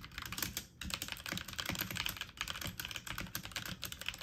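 Fast typing on a full-size backlit mechanical computer keyboard with plastic keycaps, the keys pressed quickly with fingertips and medium nails. A dense run of sharp, bright clicky taps with short decay continues throughout, with a brief lull just before the one-second mark.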